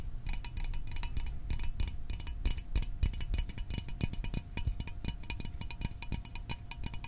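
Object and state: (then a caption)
Small metal soda can. A small, hollow metal Fanta orange soda can, held in the hands, is tapped quickly with fingertips and nails. The result is a fast, uneven stream of short, dull knocks with a deep low body, crisp bright clicks from the nails, and a faint steady ringing tone underneath.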